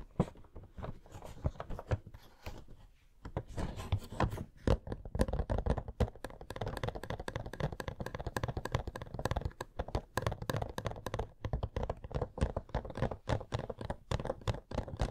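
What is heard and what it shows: Fingernails tap and scratch across the faces of a hollow, printed-cardboard Coca-Cola Funko Pop box. Quick, dry taps with almost no ring mix with rough scratching in a dense, nearly continuous flurry, mostly low and hollow with faint bright edges on the sharper hits. The level stays fairly steady throughout, with a brief quieter pause around three seconds.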